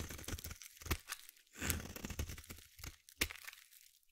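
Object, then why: Bar of soap. A metal blade scrapes a solid green bar of soap, making a quick run of crisp, crackly scrapes and crumbly cuts. The sound has a low thud underneath and bright, brittle edges, and each stroke stops short with almost no ring.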